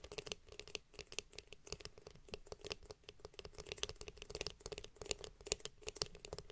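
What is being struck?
Hollow plastic hairbrush back.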